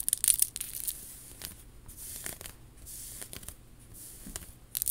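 Long nails scratch the beads and rub along the strands of a worn faux pearl bib necklace with rhinestone accents. Dry, bright scratching and rustling come in short, clustered bursts over a quiet low rumble, with the loudest scraping at the start and end.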